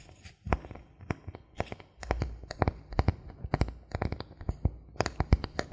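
Fingernails scratch and tap the surface of a thin, solid bamboo board held at a tilt, producing a rapid, irregular series of sharp, dry clicks with bright edges over a soft low thump. Brief scratchy rasps sit between the taps, and each hit dies away almost instantly.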